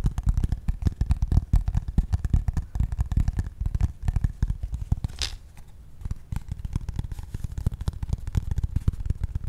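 A flat brown corrugated cardboard piece held above the mic is tapped and scratched with pink-painted fingernails. Rapid, dense, dull low thumps run almost continuously, broken around the middle by a brief bright scratchy swipe and a short quieter pause before the tapping resumes.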